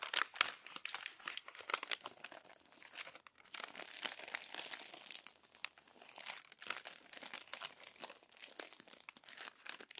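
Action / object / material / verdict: scrape / glossy paper magazine pages / glossy paper / none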